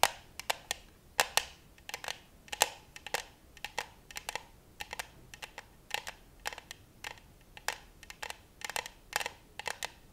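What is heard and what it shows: Long white acrylic nails tap and scratch the side of a clear glass vase full of pink and white tulip stems, tied with a pink ribbon, possibly holding water, and held in one hand close to the mic. About forty sharp, bright clicks come in quick, irregular clusters, each dying away almost at once, with faint scratching between them and almost no low end.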